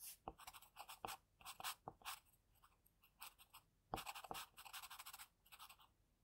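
An HB wooden pencil held in the fingers scratches the strokes of a portrait sketch onto a flat, thin sheet of white drawing paper resting on a desk. Quiet, quick bursts of dry, bright scratching come in clusters, with a few sharper taps that carry a soft low thump. Each stroke stops almost at once, separated by brief pauses.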